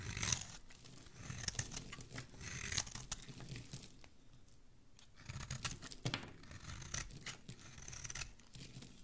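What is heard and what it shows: A dark metal blade cuts and scrapes into a solid teal bar of soap held in the hand, peeling off shavings. Quiet, crisp scraping and crackly shaving sounds come in a steady run of bright strokes with a soft low rumble underneath, pausing briefly in the middle before resuming.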